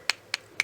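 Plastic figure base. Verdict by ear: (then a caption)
Solid. Three short, sharp taps on the plastic base of an official licensed Megahouse figure, each a bright click with almost nothing below 200 Hz and very little ring. The base sounds more solid than a bootleg's.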